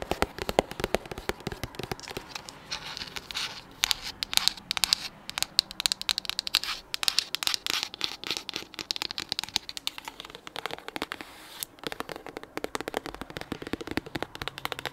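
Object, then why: Soft plastic squeeze tube. Long acrylic nails rapidly tap and scratch a hand-sized, white-pink soft plastic cosmetic squeeze tube held up in the air. The result is a dense, continuous stream of sharp, crackly clicks and scratchy rasps, bright and high with almost no low end. Each tap dies away instantly.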